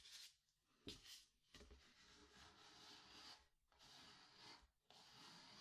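Fingertips rub and press a diagonal strip of paper masking tape down onto a small white cotton canvas stretched over a wooden frame, hollow behind. The result is a soft, bright, hissy rubbing, with sliding strokes broken by brief quiet pauses and a faint dull thump where the finger presses onto the hollow canvas.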